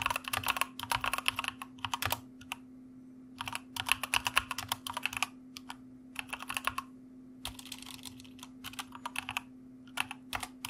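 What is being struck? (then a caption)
Mechanical computer keyboard with plastic keycaps. Fingertips of both hands type on a white mechanical computer keyboard with plastic keycaps, making quick bursts of sharp, bright clicks separated by short pauses. A faint steady low hum runs underneath throughout.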